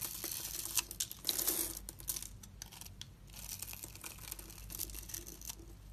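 A metal utility-knife blade scores and scrapes the surface of a palm-sized, solid rectangular blue and white striped soap bar held in one hand, cutting it into small cubes that crumble off. The result is a dense run of dry, bright scratching and crackling with quick crisp flicks, much of it high and hissy, over a faint low hum.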